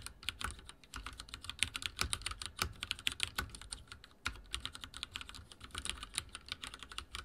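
Fingertips type very fast on a backlit mechanical keyboard with dark plastic keycaps and a silver frame. A dense stream of short, bright plastic clicks and clacks runs throughout, with little low end and a brief lull just before a sharper keystroke near the middle.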